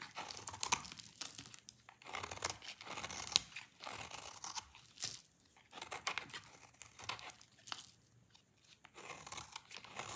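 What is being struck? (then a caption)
Soap bar scraped with a knife blade. A hand-sized, dry, solid orange soap bar held in one hand is scraped over and over with a small utility-knife blade, and the shavings fall onto a pile below. The result is bursts of dry, bright scratching and crackly tearing, with short quiet gaps between strokes.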